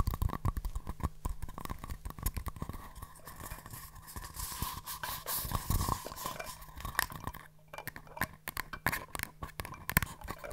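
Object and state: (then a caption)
Empty paper cups tapped. Two small, empty, hollow green and white paper cups are held in both hands and tapped rim to rim and with long nails. The result is a quick, dense run of light hollow taps and scratchy clicks, each dying away almost instantly. A soft low thump sits under the taps, with a faint steady hum running through.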